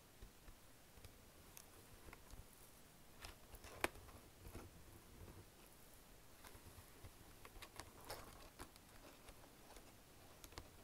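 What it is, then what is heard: Plastic keyboard keys tapped. Fingertips and nails tap and type on the keys near Enter and Backspace of a black plastic chiclet wireless keyboard. Soft, quiet, short clicks with bright ticks come in an irregular patter, with one sharper, louder click partway through.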